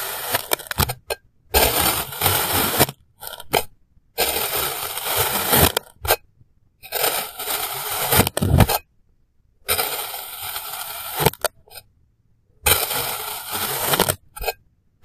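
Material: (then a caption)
Kinetic sand. A clear plastic knife slices a small, solid, molded block of yellow kinetic sand into thin slabs, cutting and scraping through it. Each stroke is a dense, gritty, broadband scrape lasting one to two seconds, bright and grainy. The strokes are separated by brief silences and short, sharp clicks as the blade enters and leaves the sand.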